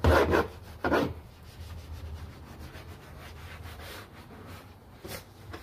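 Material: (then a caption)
Plastic. A gloved hand scrubs a large, hollow, molded plastic interior door panel of a Honda Pilot, covered in cleaning foam, back and forth with a stiff-bristle detailing brush. Three loud, broad rasping strokes stand out over a steady, quieter brushing hiss. A low hum runs underneath throughout.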